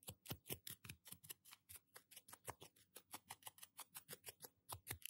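A small blue-and-white plastic toothbrush with a solid handle and nylon bristles, held in one hand, is scrubbed back and forth across the fingernails of the other hand. There are 28 quick, dry, scratchy brushing strokes, each a short, bright rasp with a faint low thump.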